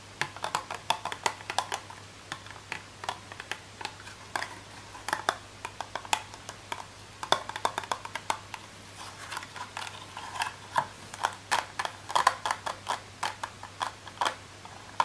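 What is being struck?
Clear plastic packaging box.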